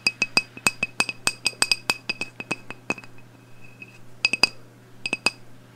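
A medium black glass candle jar labeled No 32, filled with wax, is tapped on the glass with long blue acrylic nails. Quick, bright clinks ring with short, high tones, coming in rapid bursts with a quieter pause before a few final taps. A faint low hum sits underneath.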